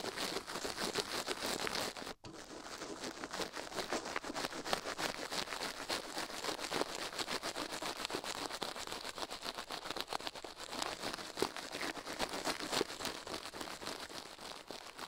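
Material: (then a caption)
Silicone. A toothbrush brushes fast across a silicone ear microphone, with a gloved hand resting still beside it. The clip is a dense, steady stream of dry, scratchy bristle strokes that are bright and hissy with almost no low end. There is a brief near-silent gap just after two seconds before the brushing resumes at the same pace.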